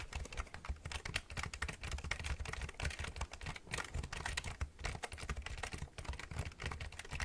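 Fingertips and nails tap and press the keys of a black plastic computer keyboard with a hollow body, held at an angle near the microphone. A rapid, dense stream of short, dry clicks comes with a deep, hollow thump beneath them and brighter plastic clatter on top.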